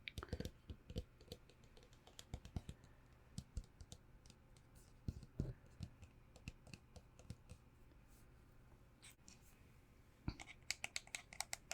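A hand sanitizer bottle, a birthday gift, is tapped with irregular, quiet clicking taps that sound sharp and bright with very short decay over a low steady hum. Near the end the taps come in a quicker, brighter cluster.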